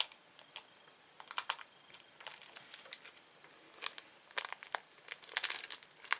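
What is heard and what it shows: A small, thin, empty red-orange printed plastic Anta Flu candy wrapper is held and crinkled with the manicured fingertips and nails of both hands. Quiet, bright, crackling crinkles come in irregular bursts and sharp snaps over about six seconds, with no low-end rumble and almost no ring after each crackle.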